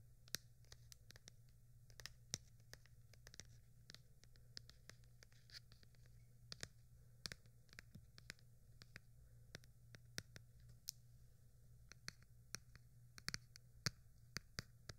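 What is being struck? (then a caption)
Tablet in a plastic case. Long painted nails scratch and tap the rigid, flat surface of a large white tablet in a plastic case, held with both hands against a microphone. Dozens of short, sharp, bright clicks and scratches stand out over a quiet, steady low hum, each dying away almost instantly.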